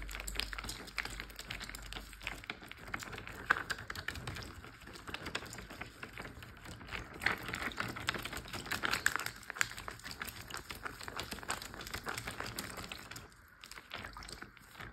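Fingertips and nails tap rapidly on a large, clear plastic Ziploc bag full of water lying flat. The result is a dense, continuous stream of short, crisp plastic taps and crinkles with a bright edge, with a soft watery thud underneath. The tapping stays fairly even throughout and eases briefly near the end.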